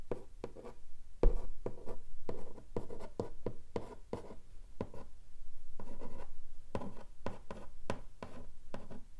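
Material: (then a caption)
Cardboard. Long nails scratch along the lid of a long, flat, hollow pink cardboard keyboard box. The result is a steady run of quick, dry scratching strokes with a dull, low, hollow body. Each stroke stops short without ringing.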